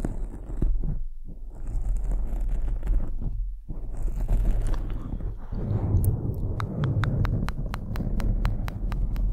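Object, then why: Foam microphone windscreen. Fingertips and nails of both hands scratch and rub a soft, fist-sized black foam windscreen covering a microphone head. The result is a dense, low rumbling scratch and rustle, with a brief drop to near-silence around one second in and again near three and a half seconds. In the last few seconds a steady train of short, sharp, bright ticks runs over the rubbing.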